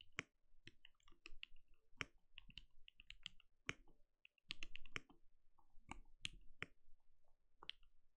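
A compact RGB-lit mechanical keyboard with a translucent plastic case and plastic keycaps sits on a desk and is typed on steadily with the bare fingertips of both hands. Quick, dry keystroke clicks come in uneven bursts, with a bright tick over a low, soft thock. One brief pause falls near the middle.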